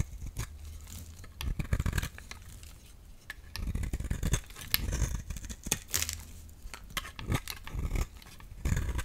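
A solid yellow-orange soap bar held in the hand is cut and shaved with a utility knife blade, producing small curls. Repeated dry, crunchy scraping strokes come in bursts, each with a bright edge over a heavy low-end rumble, separated by quieter pauses.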